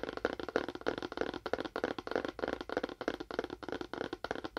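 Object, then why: Cardboard box with wood-look finish. A fingernail taps quickly on a cardboard box with a faux wood finish, giving about eighteen short, dry taps at an uneven pace of roughly three per second. Each tap is hollow and papery, centered around 460 Hz in the midrange, and dies away almost instantly with little low or high content.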